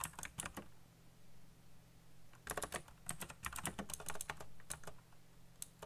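Fingertips type fast on a backlit mechanical keyboard with black plastic keycaps, producing bursts of sharp, bright clicks and clacks. The keystrokes come in quick clusters with short pauses between them, over a steady low hum.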